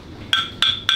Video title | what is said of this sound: 嘉昇：確定這些東西是我吃的？難道這是我在品城記的最後一頓飯？【品城記】 | pourquoi fait-il le son clair ? c'est du charbon de bois blanc